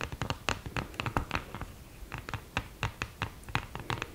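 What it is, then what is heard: Cardboard eyeshadow palette with mirror scratched. Long green-painted nails scratch and tap across the mirror and cardboard lid of an open, flat, thin and hollow cardboard eyeshadow palette with a mirror in the lid. Around twenty quick, dry scratches and clicks come in short bursts, each with a bright edge over a hollow low thump. Every stroke dies away almost at once, with faint scraping between them.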